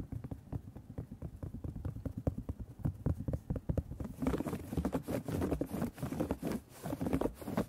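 A round piece of embroidered cotton fabric, stretched in a thin wooden embroidery hoop to make a hollow, drum-like surface, is held up and tapped and scratched with fingertips and short nails. Rapid, soft, low thumps patter quickly for the first half. From about four seconds on, a brighter, raspy scratching joins the drumming taps.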